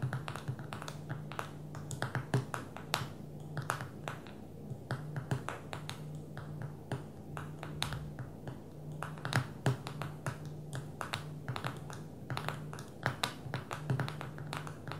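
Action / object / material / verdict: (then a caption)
tap / smartphone with glass touchscreen / glass / none. Long fingernails of both hands tap rapidly on the glass touchscreen of a small black smartphone lying flat on a table. The result is a steady stream of sharp, bright little clicks with very short decay, over a constant low hum.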